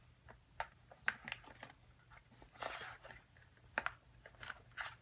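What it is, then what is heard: Cardboard box tapped with fingernails. Long acrylic nail tips tap on the top and then the side of a small, hollow, printed cardboard box for a kit. The result is a quiet series of short, dry, bright clicks that stop almost at once, with a brief rougher, rustling burst in the middle.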